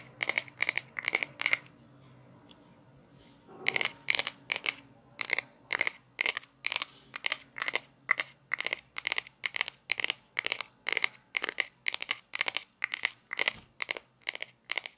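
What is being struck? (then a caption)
Small plastic toy pizza cutter. A small hollow plastic toy pizza cutter with a red handle and grey wheel is held in both hands while fingertips and long nails tap and scratch the wheel and spin it. The result is a steady run of short, bright, scratchy clicking bursts with almost no low end and no ring. There is a brief quiet pause near two to three and a half seconds before the rhythm resumes to the end.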